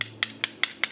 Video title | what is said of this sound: SPAGHETTI ALLE VONGOLE VERACI ricetta Spaghetti alle Vongole in bianco | Sentite come suona strano? Non suona come normali, sentite?